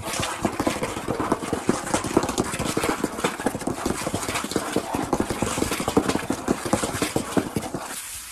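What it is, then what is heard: Wooden tabletop tapped rapidly. Fingertips and a flat hand rapidly tap and rub the surface of a large, solid brown wood-grain tabletop. The result is a fast, continuous patter of short, dry knocks with little ring, centred around 344 Hz, over a steady brushing hiss that fades out at the very end.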